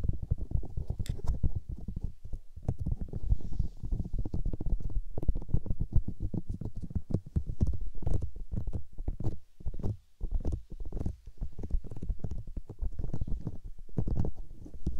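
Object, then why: Silicone microphone ears. White silicone microphone ears are massaged and rubbed by fingers with long nails, producing a continuous stream of dense, muffled low-frequency rubbing and squishing sounds. Brief bright ticks from the nails appear here and there, and the rubbing pauses for a moment around the middle.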